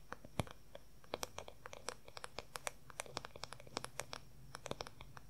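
Fingernails rapidly tap and scratch on the smooth back of a long-handled wooden paddle hair brush, making many short, dry clicks that flash bright and high. The quiet, irregular taps come in quick clusters over a faint low hum.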